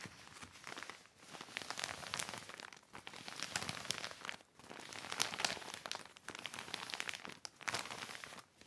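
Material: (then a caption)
Plastic. A hand rubs and wipes the wet surface of a large black heavy plastic sheet lying flat with a yellow sponge. Bursts of bright, dense crinkling rise and fade in waves, separated by short quiet pauses.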